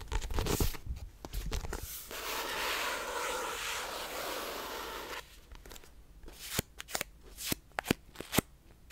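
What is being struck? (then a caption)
Paperback book with paper pages. A small pink paperback book with a paper cover and pages is held in both hands, and its pages are flipped and riffled with the fingertips. A flurry of papery flicks gives way to a steady, bright riffling rush lasting about three seconds. It ends in a run of sharp, dry page snaps and taps.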